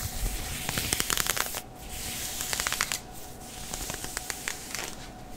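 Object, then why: Synthetic knit leggings fabric. Fingertips and nails scratch grey heathered, stretchy synthetic knit leggings worn on a bent knee. Bursts of bright, dry, crackly scratching come in quick clusters, separated by quieter stretches of soft rubbing. A faint steady tone hums underneath throughout.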